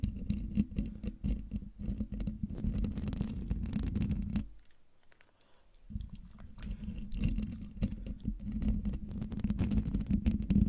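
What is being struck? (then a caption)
Metal mesh microphone grille. Long dark nails of one hand lightly scratch the side of the hollow metal mesh grille on a silver Blue Yeti microphone. The result is a dense, irregular, low, rumbling patter with faint bright crackle. It fades to near silence for about a second midway, then resumes just as busily.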